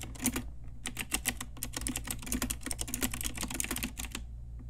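Fingertips and long nails of both hands type rapidly on a pink Ajazz typewriter-style retro mechanical keyboard with round plastic keycaps. A dense run of crisp, clacky keystrokes with bright plastic ticks sits over a steady low hum, then the typing stops near the end.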